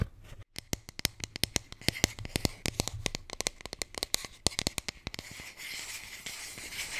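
A blue Bintang beer can holder is tapped with a rapid series of sharp, dry clicks, each dying away almost instantly. Around the five-second mark the tapping gives way to a steady, bright scratching hiss. A faint low hum sits underneath throughout.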